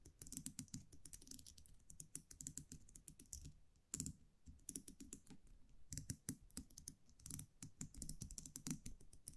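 A small metal champagne cork cage, a wire muselet with a round metal cap, is held in the fingers and tapped and scratched with long manicured nails. The result is a rapid, continuous run of crisp clicks and light taps, each with a bright, sharp edge over a soft low thump, rising and falling in little bursts with brief pauses between.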